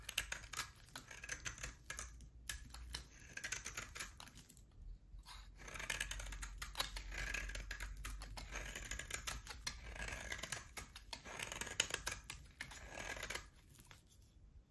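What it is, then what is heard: Bar of soap being shaved. A utility knife blade shaves a solid oval bar of hard soap with a pale core and a black rim. It makes a dense run of quick, crisp, bright scraping ticks with short pauses, over a faint low rumble.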